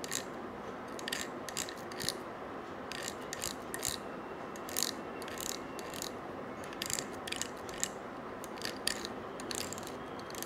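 A small gold-colored coiled wire bangle, held in one hand, is scratched with a stiff-bristled brush. It makes short, bright, ratcheting bursts of scratching over a steady low hiss. The strokes come in irregular clusters, with a sharp, dry high-pitched rasp and almost no ring.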